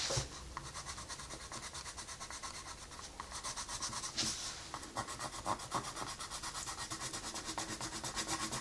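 A colored pencil rubs and scratches across a flat paper coloring book page in steady shading strokes. The sound is a soft, bright, dry scratching that pulses with each back-and-forth stroke, with a few sharper scrapes toward the end.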